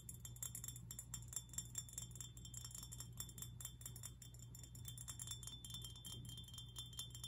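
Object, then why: Glass fish figurine. A glass fish figurine is tapped and scratched, giving rapid, bright clinks and chime-like glassy ticks that ring only briefly. A steady low hum runs underneath throughout.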